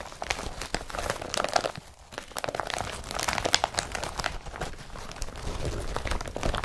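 Fingers grip, rub and crinkle the blue and yellow woven polypropylene straps of an IKEA BRATTBY carrier bag. Dense, dry crinkling and crunching with many quick, sharp scratches comes through in steady bursts, broken by a short quiet dip around two seconds in.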